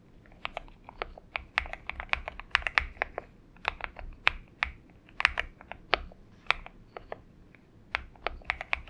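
Both hands' fingertips type continuously on a purple-backlit Xinmeng M71 70% mechanical keyboard with an aluminum case and PBT keycaps, resting on a desk mat. A steady stream of short, crisp keystroke clicks centered around 2 kHz, with bright tops and very little low end, each dying away almost instantly.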